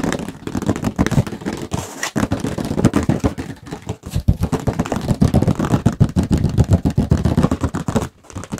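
A medium illustrated hardcover book with a painted cover is held in both hands and tapped fast on the cover with fingertips and nails. The result is a dense, uneven stream of quick, dull, low-heavy taps that die away almost instantly, with brief pauses around two, four and eight seconds.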